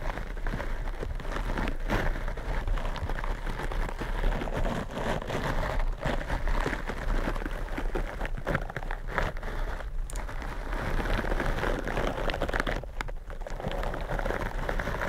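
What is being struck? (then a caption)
Foam microphone windscreen rubbed with silicone-bristle gloves. Purple silicone bristle gloves scratch and rub two black foam microphone windscreens, giving a dense, continuous crackling and rustling texture like rain on a surface. The sound is heavy in low rumble with a steady level and brief dips in between.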